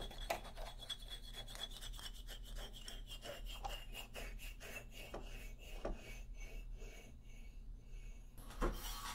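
Fingernails scratch across the solid hardwood bars of an upright wooden xylophone, making a steady, rhythmic rasping with a faint sustained ringing tone above it over a low rumble. Near the end comes a slightly louder, brighter scrape.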